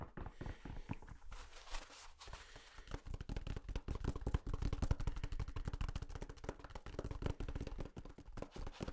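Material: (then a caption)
Paper. A full roll of white toilet paper with a hollow core is held close to the mic and tapped and scratched with fingertips. Dense, soft, muffled taps with deep, dull thumps are heard over a dry scratching rustle. The taps run quickly and unevenly throughout.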